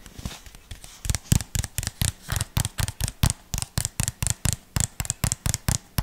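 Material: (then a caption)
Plastic. Fingertips tap and scratch a small, hollow white plastic jar with a red label and screw lid, held close to the microphone. A quick, uneven run of short, dry taps mixes hollow low thumps with bright clicky edges and soft scratching between them. Each tap dies away almost at once.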